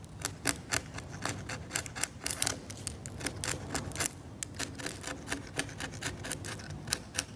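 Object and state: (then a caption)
Scalpel scraping varnish on an oil painting. A scalpel blade scrapes the cracked varnish of a varnished oil painting on canvas in short, irregular strokes. Each stroke gives a brief, dry, scratchy tick that runs bright up the spectrum, over a low rumbling background.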